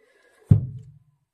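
An empty plastic military field canteen, its water used up on washing, putting out a fire and cooking, is knocked once, giving a single low, hollow thud that fades within about half a second.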